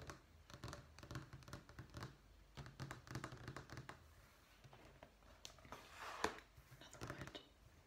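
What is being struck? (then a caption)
Vinyl flooring sample sheet. Long fingernails tap and lightly scratch a thin, solid brown wood-effect vinyl flooring sample page resting on a stack in a sample book. Quiet, quick, dry taps with soft low thuds run throughout, and a brighter scratching swell peaks with a sharper click around the six-second mark.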